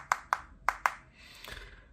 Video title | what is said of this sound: CVJ VVT-1 Unboxing - Donboxing #51 | so that ain't glass that's definitively plastic